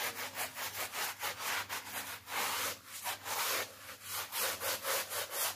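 A small, flat, woven wool kilim rug, wet and muddy, lies on a plastic sheet and is scrubbed by hand with a blue stiff-bristle brush in rubbing strokes across the weave. The result is a steady, rhythmic, bright, hissing swish of bristles dragging over the wet fibers, with each stroke swelling and fading in turn.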